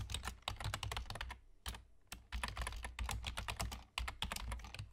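Both hands' fingertips, with short nails, rapidly tap the hollow keys of a full-size black plastic computer keyboard with German key labels. The result is fast, crisp clicking with a brief pause partway through before the typing resumes, over a low, steady hum.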